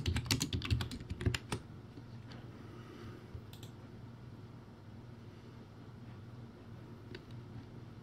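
Fingertips type quickly on a backlit, low-quality plastic typewriter-style keyboard with round white plastic keycaps. A dense burst of clacky keystrokes with thuddy lows and bright clicks fills the first second and a half. Then it goes quiet, leaving a low steady hum and a few faint clicks.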